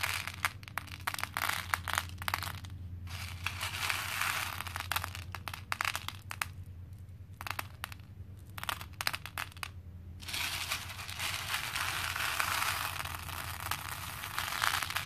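Both hands scoop small cream plastic faux pearl beads from a pink plastic bowl full of them and let them fall back, producing a dense, bright clinking and rattling of plastic on plastic. The pours come in bursts separated by quieter pauses, ending in a long continuous cascade over a steady low hum.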